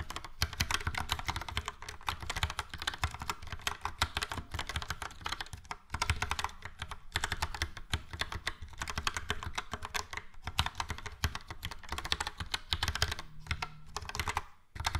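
Fingertips type rapidly across a yellow and grey Logitech POP Keys plastic mechanical keyboard with round plastic keycaps and hollow switch housings, tapping many keys. A fast, continuous stream of short, bright clacks rides over a hollow low thump, each keystroke dying away almost instantly, with brief pauses near six seconds and at the very end.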